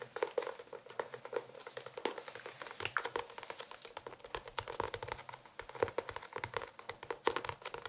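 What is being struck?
Cloth-covered hardcover notebook.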